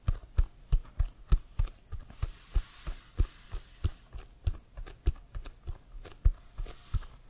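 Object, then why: Inflated leather American football. Fingernails tap on an inflated, hollow leather American football bearing the CFL logo, held upright. About 34 quick, irregular taps give short, dull, low thumps with bright clicky edges that die away almost instantly.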